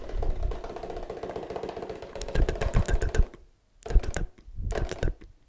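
Fingertips rapidly tap a 1 L Oddly Good Barista oat milk carton made of laminated paperboard with a plastic cap; how full it is can't be seen. The result is a fast, steady flurry of dull, low, deep thuds with almost no ring, running for about three seconds, then a brief silence and two shorter bursts of tapping.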